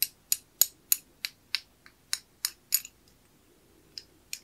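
A small, old, solid metal skeleton key is held through a worn brass keyhole escutcheon plate, both handheld, while fingertips turn and work the key in the plate. Twelve sharp, bright metallic clicks and light scrapes come at a steady pace for about three seconds, then two more after a short pause. Each click is short and dry, with almost no low end.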